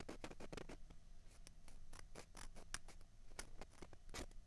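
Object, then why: Plastic ping pong balls. Long fingernails scratch two small hollow white plastic ping pong balls, one held in each hand. The result is a quiet, steady run of quick, dry, bright scratching strokes with crisp, brief attacks that die away almost at once over a faint low rumble.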